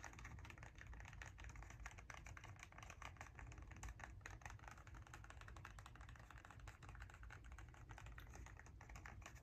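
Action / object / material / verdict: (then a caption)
tap / small cardboard box / cardboard / none. Fingernails tap rapidly on the faces of a small, hollow kraft cardboard box held in both hands. The result is a quiet, steady stream of fast, dry clicks that die away almost at once, over a low background rumble.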